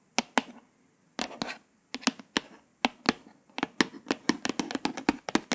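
Long pointed acrylic nails tap and trace the raised letters on the glossy embossed "Dream with a Vision" cover of a flat, solid hardcover paper book. Sharp, bright, clicky taps come in irregular bursts, with soft scratchy tracing between them and brief silent pauses. Each tap dies away almost instantly, and the taps crowd closer together toward the end.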